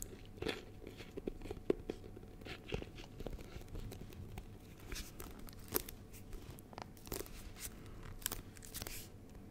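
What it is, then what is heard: Plastic honeycomb box tapped and scratched. Fingertips and short nails tap and scratch the sides of a small, clear, rigid plastic box with a yellow label, full of honeycomb and held close to the mic. Quiet, crisp clicks and dry, crinkly scratches come in quick, irregular bursts over a soft low rumble, each tap dying away almost instantly with brief bright edges.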